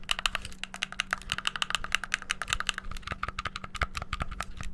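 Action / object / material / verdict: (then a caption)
tap / plastic game controller / plastic / none. A hollow white plastic gamepad has its buttons pressed rapidly with thumbs and fingertips. The result is a fast, dense run of sharp, bright plastic clicks that stop instantly with no ring, over a faint steady low hum.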